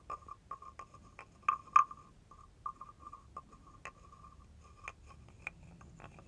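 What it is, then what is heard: Wooden frog guiro. A wooden stick is scraped along the ridged back of a hand-held carved wooden frog guiro. It makes about eleven short, quiet, irregular croaking rasps, each with a woody tone near 1.2 kHz and bright clicky edges that die away almost at once.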